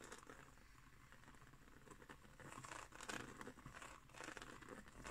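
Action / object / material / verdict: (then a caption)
scrape / coiled woven straw trivet / straw / none. A round, coiled, woven straw trivet is briefly lifted while long nails scratch across its woven surface. The result is a soft, dry, crinkly rustling with louder scratchy bursts around the middle and near the end, bright in the upper range over a faint low hum.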